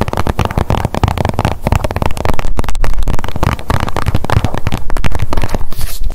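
Long nails tap rapidly on a blue plastic sunscreen tube with a white cap held in the hands. The result is a dense, irregular stream of quick, short clicks with a dull, low body, growing slightly louder partway through.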